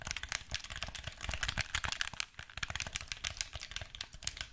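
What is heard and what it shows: A black, hollow plastic handheld gamepad is held in both hands while its buttons and sticks are clicked and pressed with the thumbs and fingertips. A rapid, uneven stream of short, dry, bright plastic clicks and taps follows, with soft low thumps underneath and almost no ring after each click.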